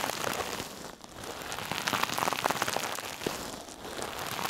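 A hand-sized, soft, silver sparkly metallic mesh scrub sponge held in one hand is squeezed and rubbed against a mannequin's ear and the side of its head. It makes dense, crinkly, bright crackling like fine rain on a surface, with many quick sharp ticks and brief quieter dips between strokes.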